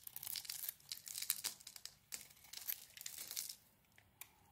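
A knife blade scrapes pink flakes from a solid, hand-sized, rounded-rectangle bar soap with a lilac outer layer and a pink inside. Quiet, dry, crumbly scraping comes in bright, high-pitched bursts with almost no low end. It fades out near the end before one last short, sharp scrape.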